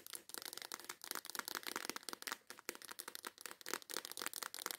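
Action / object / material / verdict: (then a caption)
tap / clear plastic box of nail files / plastic / none. Long white acrylic nails rapidly tap and scratch the lid and sides of a small transparent plastic case full of colorful nail files. Roughly twenty quick, sharp clicks blend with crinkly scraping, all bright and thin with no low end, each tap dying away almost instantly.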